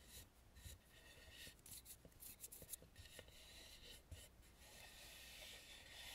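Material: Wood.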